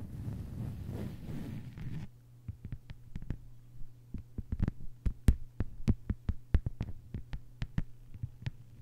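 Long white-polished nails of both hands tap on a thin, solid, flat lime-green plastic cutting mat lying on a table. After about two seconds of dense, scratchy rustling, quick dry clicks follow one another at an uneven pace over a steady low hum. Each tap is sharp and dies away at once.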